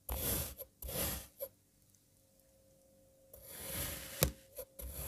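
A serrated knife slices a solid light blue kinetic sand puzzle block into strips and then cuts crosswise. Gritty, rasping scrapes come in short bursts, with a quiet pause under a faint steady hum before a longer scrape ends in a sharp tap and more brief strokes.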